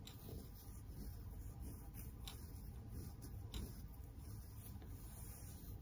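A large, pink, shaggy faux fur heart-shaped pillow, soft and stuffed and wrapped around the mic, is rubbed and scratched with fingertips and long nails. It makes a steady, muffled, low rumbling rustle with a few faint, brief, brighter scratchy strokes.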